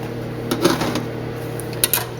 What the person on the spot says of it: See, you hit it, it sounds hollow.